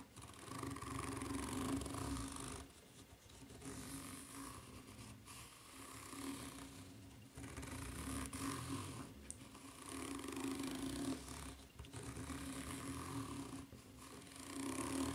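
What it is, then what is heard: Rubber flip-flop sole, scratched. Long nails scratch across the serrated surface of a white ridged rubber flip-flop sole held bottom-up. The sound is a steady, bright, rasping scrape with a faint low hum, coming in long strokes separated by brief quieter pauses.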